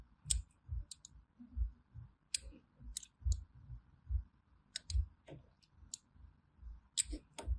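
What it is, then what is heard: Bar of soap being scored with a blade. A small thin metal blade scores diagonal grooves into a solid orange bar of hand soap held in the palm, scratching and cutting through it. Each stroke gives a crisp, bright click over a soft low thump, repeating at an uneven, unhurried pace. A faint steady hum sits underneath throughout.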